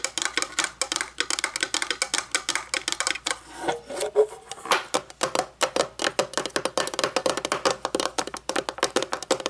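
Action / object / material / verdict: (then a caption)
tap / metal candle lid / metal / none. A round, shiny, hollow metal candle lid about 9 cm across, lying on a wooden table, is tapped on top with long painted fingernails. Dozens of quick, crisp clicks with a bright metallic tick around 430 Hz die away almost instantly. There is a brief, softer stretch near the middle before the rapid tapping resumes.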